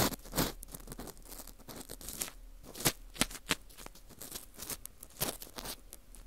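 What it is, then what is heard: Dried wheat gluten fu ring scraped. A thin orange plastic earpick scrapes and scratches inside the hollowed-out center hole of a round slice of dry, porous Japanese fu (wheat gluten bread), held in a gloved hand against a microphone. The result is a close, dry, bright crackling and crunching with quick irregular scratchy strokes and a few sharper clicks.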